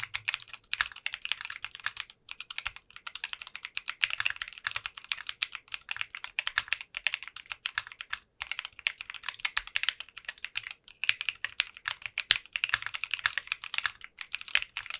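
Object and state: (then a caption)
Mechanical keyboard with clear plastic keycaps. A 60% custom mechanical keyboard with translucent pink polycarbonate keycaps is typed on continuously with the fingertips of both hands. It produces rapid, bright, clicky keystrokes that decay almost instantly. Brief pauses break up the typing.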